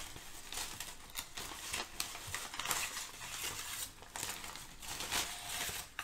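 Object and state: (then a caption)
Crumpled kraft packing paper. Thin brown kraft packing paper is crumpled, lifted and crinkled by hands. It makes a steady, dense crackling with repeated bright bursts of crinkle rising over a softer rustle. The sound is mostly high and papery, with little low end.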